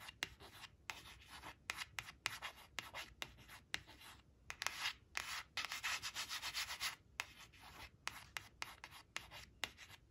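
A long acrylic nail traces and scratches the printed "3" and the word "three" on a thin coated paper flash card resting on woven cloth. The sound is a dry, bright, papery rubbing made of quick scratchy strokes separated by brief pauses, with denser stretches of continuous scraping in the middle.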